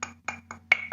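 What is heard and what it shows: A coffee mug in use is tapped five times to show that it is really there. Each tap gives a short, bright clink that dies away almost at once, with the fourth tap the loudest.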